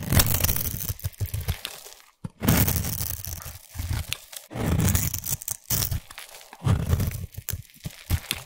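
A solid white bar of soap held in the hand is scraped with a small black abrasive blade tool, shaving off crumbly white flakes. Rough, crunchy scraping strokes come in uneven bursts with a low, dense body and a bright gritty hiss, separated by brief pauses.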